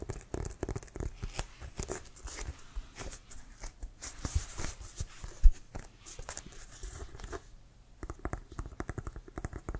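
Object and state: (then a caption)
Composite leather football. Both hands tap and scratch with fingertips and nails across the laces and pebbled surface of an inflated brown Wilson American football of composite synthetic leather. Rapid, dull, low thumps mix with dry, bright scratching rasps, with one louder tap about midway. The tapping briefly thins out and then resumes in a quick cluster at the end.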